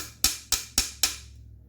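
Four light, sharp taps of a small brass hammer drive a metal plug into an oil passage of an aluminum engine block for a DOD delete. Each tap is bright and high-pitched and dies away quickly, and the change in the tapping sound is taken to mean the plug is fully seated.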